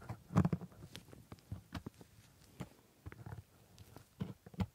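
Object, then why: Plastic dental model scraped and tapped with a metal scaler. A metal scaler held in a blue-gloved hand scrapes and taps at the white plastic teeth of a plastic typodont lower jaw coated in white paste. The result is a quiet, irregular run of short, dull clicks and soft scraping, muffled and low-pitched, with each contact dying away almost instantly.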